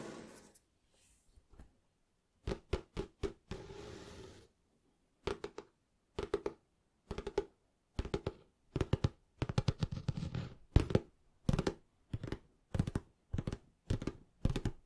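Fingertips tap on the cover of a small, closed, green cloth-covered hardback book held in the hands, making quick bursts of soft, dry, low thunks that stop almost instantly. The taps come in uneven clusters separated by short silences, with a brief scratchy rub across the cover early on.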